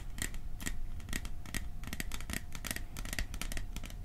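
Fingertips and nails tap quickly on a small, hollow, cylindrical metal popcorn tin with a "Silent Night" print. The result is a dense run of short, dry clicks and taps with little ring, over a low, hollow undertone.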